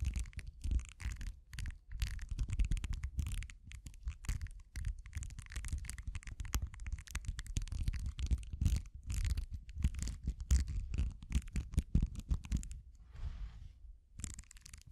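A pink-handled tool with thin metal prongs scratches and pokes across a small, flat purple silicone facial cleansing pad covered in short soft bristles, held in the hand. It makes a dense run of rapid, close scratchy rustles with a deep, thumpy low end and flickers of bright hiss. The scratching eases briefly near the end before picking up again.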